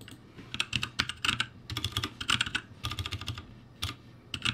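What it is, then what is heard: Mechanical keyboard with plastic keycaps. Both hands type with their fingertips on a backlit ROCCAT G65 mechanical keyboard with plastic keycaps. Bursts of quick, bright, clacky keystrokes sit over a soft low thud of keys bottoming out, with brief pauses between the flurries.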